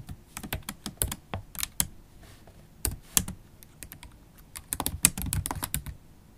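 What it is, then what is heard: Laptop keyboard with plastic keys. Long black holographic acrylic stiletto nails type on a MacBook Pro keyboard with black plastic keys set in an aluminium body. About 21 sharp, bright clicky taps come in irregular bursts, each with a very short decay and a faint low thud beneath. Between the bursts there are brief quiet pauses.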